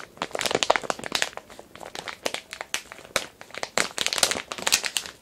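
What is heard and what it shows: A medium, glossy printed plastic package of kinetic sand, filled, is held up and crinkled with the fingertips. The result is a steady run of sharp, bright crinkles and crackles with quick decays, mostly in the upper-mid and high range and with almost no low end.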